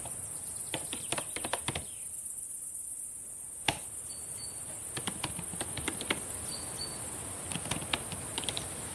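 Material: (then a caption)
Plastic. Long painted nails and fingertips type and tap on the plastic keys of a black laptop keyboard. Quiet, sharp, bright clicks come in irregular bursts, with a pause in the middle, over a steady high hiss.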